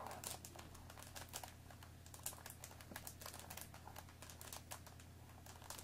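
Long dark-painted nails tap and scratch the top and sides of a hollow, rectangular Earl Grey tea bag box of thin cardboard wrapped in plastic film, holding tea bags and standing on a wooden table. Quick, light, bright clicks and crinkly scratching rattle over one another in a steady stream, each tap dying away almost at once. A constant low hum runs underneath.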